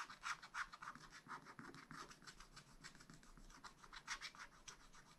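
A wooden stylus scratches along the red ornament edge on a black-coated sheet of a spiral-bound scratch-art pad. Quiet, dry, rasping strokes repeat in a quick, uneven rhythm, each short and bright with no ring, centered around 1.4 kHz with a faint low rumble underneath.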